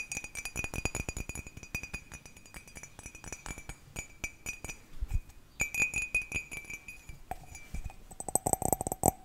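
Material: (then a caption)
Ceramic. A cat-shaped ceramic mug is tapped quickly, giving a dense run of short, bright clinks. A steady ringing tone holds through the first part, and the last seconds bring a lower ring near 720 Hz with a high shimmer.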